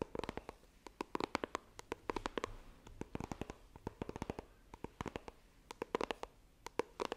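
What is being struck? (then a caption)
Small coated cardboard box. A small, hollow white iPhone retail box of coated cardboard is held in both hands while long nails tap and scratch its surface. The result is a rapid, irregular run of many sharp, dry clicks with a hollow mid-range knock, separated by soft scratching.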